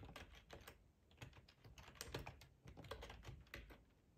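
Fingertips type on the keys of a black, hollow-bodied plastic split ergonomic computer keyboard, making a quick, uneven run of soft tapping clicks. Each key stroke is short, with a low thump under a brief bright click and a quiet, dry finish.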